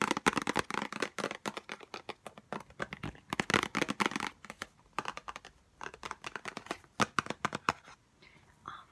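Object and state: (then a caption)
Cardboard box tapped with fingernails. A small white Chanel No5 cardboard perfume box is tapped quickly with long nails on its faces and edges. The result is a rapid, irregular stream of short, dry, papery clicks with a bright crackle and almost no ring. The tapping thins out into a few quieter, softer taps at the end.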